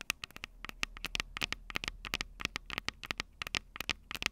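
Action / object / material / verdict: tap / metal microphone capsules on a handheld recorder / metal / none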